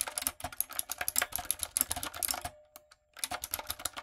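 Rapid clicky keystrokes on a typewriter-style plastic mechanical keyboard with round plastic keycaps and a backlight, typed with fingertips and long acrylic nails. The bright, sharp clacks come in fast bursts, pause briefly around the middle, then resume.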